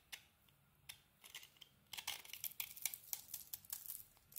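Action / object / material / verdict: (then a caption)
scrape / bar of soap with glitter coating / soap / none. A metal blade scrapes shavings of a dark glitter coating off a hand-held solid bar of soap with a red rim and a yellow core. A few faint, crisp ticks give way after about two seconds to a denser run of quiet, bright, papery scrapes and clicks that stop almost instantly.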